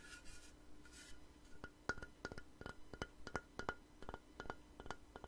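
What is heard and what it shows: A long, light-colored, solid wooden board or plank is held upright and tapped with fingernails and fingertips. After two soft, bright bursts of hiss, a quick, irregular run of sharp, dry taps follows, each with a short hollow knock pitched around 1.4 kHz that dies away almost instantly.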